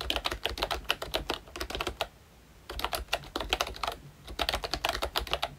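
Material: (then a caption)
Plastic. Fingertips type continuously on a ROYCHE Disney Mickey Mouse retro keyboard, a plastic membrane keyboard with round keycaps. It produces rapid, bright, short plastic clicks in bursts, with a clear pause from about 2 to 2.7 seconds and a brief lull near 4 seconds before the typing resumes.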